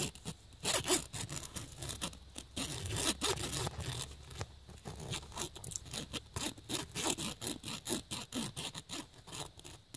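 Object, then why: Woven nylon fabric bag. A USB cable plug held in the fingers scratches quickly across the woven surface of a black nylon fabric bag. Rapid, bright, raspy strokes run steadily through the clip, each short and dry with almost no ring. A faint low rumble sits underneath.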